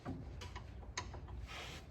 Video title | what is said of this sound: F150 Sway Bar Link Replacement - Easy DIY Suspension Fix! | the shaking, the knocking is actually coming right from the bottom of it